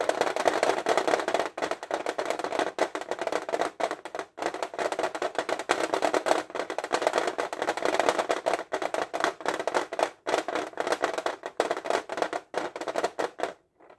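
Fingernails tap rapidly on the front lid of a flat, printed metal fineliner tin case held upright. The result is a dense, continuous stream of thin, clicky metallic taps centered around 670 Hz with almost no low end, with brief pauses before stopping just before the end.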